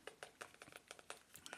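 Light fingertip tapping on a selenite crystal point, received as a birthday gift and regarded as a cleansing crystal, makes a quick run of about 11 soft, dry clicks. Each tap is short with almost no ring, centered around 1.3 kHz with some bright upper edge. The sound stays quiet and close throughout.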